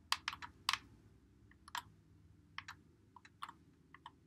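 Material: Plastic.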